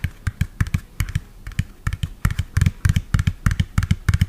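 Fingernails tap rapidly on the body of a hollow lime-green and yellow plastic toy truck, about 25 cm long, held close to the mic. About 23 quick, dry taps land in an uneven rhythm, each a short click over a low, hollow thump that dies away almost instantly.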